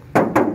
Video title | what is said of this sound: honda crv 2011 m/t dijual wa 081390722655#crv #hondacrv | suaranya nyaring eh kedengeran 1 RT ya kalau digedor dengan keras